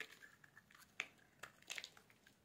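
A solid pink bar of soap, held in a hand with black nail polish, is shaved with a metal blade. Quiet, bright, crisp scraping and crackling builds into a few sharp, dry snaps, with the loudest around the middle and a brief flurry near the end. The low end is almost silent.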